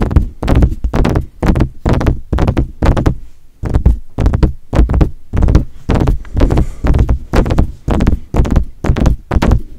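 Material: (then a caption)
Metal. Fingertips tap on the metal body and grille of a silver metal USB desktop condenser microphone. The result is a fast, uneven run of deep, boomy thumps, heavy in the low end with a quick decay, rising and falling in clusters.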